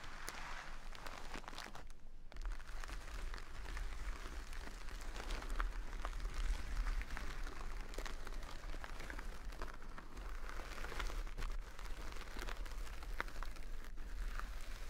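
A full jute burlap bag of rice resting on a table is scratched and pressed with long nails and fingertips. The result is a continuous, dense crinkly scratching and crunching texture with many small rustling hits over a low, steady rumble.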